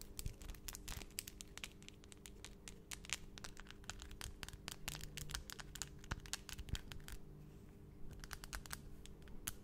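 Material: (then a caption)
Acrylic. Long, solid, pointed acrylic nails tap against each other, both hands working close in front of the microphone. Rapid, dense clicking comes in quick bursts with bright, sharp transients over a steady low hum.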